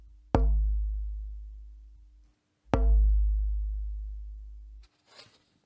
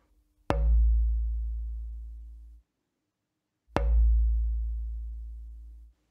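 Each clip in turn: First: Two knocks on a thin spruce board give a papery, muffled thud that dies quickly: a dead soundboard blank. Second: Two knocks on a spruce soundboard blank, each leaving a deep boom that rings on for about two seconds.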